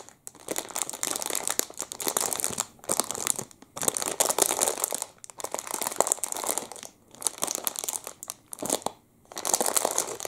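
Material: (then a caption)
Plastic. A clear, crinkly plastic wrapper around a full, hand-sized Double Chocolate muffin is held in both hands and squeezed and crinkled with the fingertips. It makes dense, bright, crackling crinkles in bursts of a second or two, separated by brief quiet pauses, with almost no low end.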